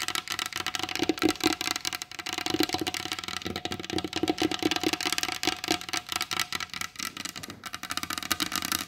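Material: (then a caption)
Wood. Long blue almond-shaped acrylic nails tap quickly on the glossy varnished top of a large solid wooden table. They make a steady, rapid patter of bright, crisp clicks that die away almost instantly, with a faint hollow woody tone around 300 Hz under some taps. It continues at an even pace for about nine seconds.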